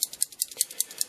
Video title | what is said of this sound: Leatherman Rebar: Hunting Down the Competion | can actually shake the tools you can hear them rattling